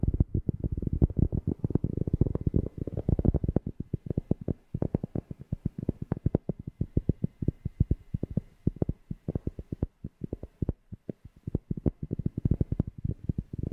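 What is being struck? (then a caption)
Cork object. A cork object is tapped close to a FIFINE K690 microphone in a rapid, uneven stream of dozens of short, dry taps. Each tap lands as a deep, bassy thump centered low, around 74 Hz, with almost no high or bright content and no ringing after. The taps are densest and loudest near the start and briefly thin out around the four-second mark.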